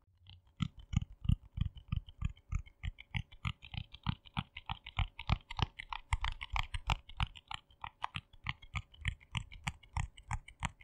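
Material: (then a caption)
Plastic. A small, round, hollow yellow plastic jar with a lid is held in both hands while fingernails tap and click quickly on the lid. The result is a fast, somewhat uneven stream of short, dry taps, each with a low hollow thump and a bright clicky edge, at about three per second. The taps stop dead with no ring.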